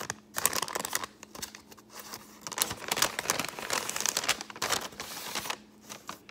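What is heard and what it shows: An empty brown kraft paper bag is folded and crumpled between the fingers and scratched with long painted nails. The result is dense, bright crinkling and crackling with quick scratchy bursts and brief pauses, and almost no low end.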